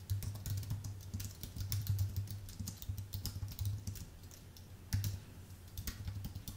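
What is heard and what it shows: Two hands type with their fingertips on a full-size white Apple Magic Keyboard, an aluminium base with plastic keys. A fast, steady run of light clicking keystrokes sits over a low hum of about 98 Hz, with brief bright key taps throughout.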